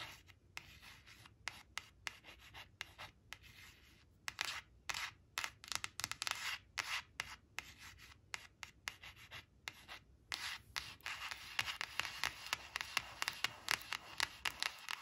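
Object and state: Paper flash card scratched with nails.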